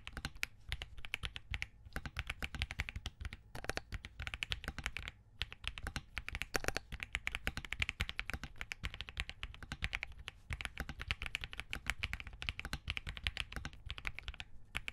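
A compact 65% Spark67 mechanical keyboard with a POM case, Crane switches and green gradient plastic keycaps rests on a desk while both hands type continuously, fingertips tapping and pressing the keys. A rapid, dense stream of short, crisp clacks with bright tops and a solid low body, each dying away almost instantly, broken only by a few brief pauses.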